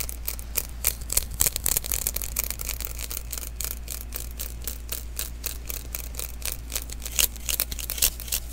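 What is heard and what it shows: A small hollow sticky lint roller refill, an adhesive paper roll, is held in the hands while fingertips tap and rub its tacky surface. The result is a rapid, uneven stream of bright, crackly sticky peels and taps over a steady low hum.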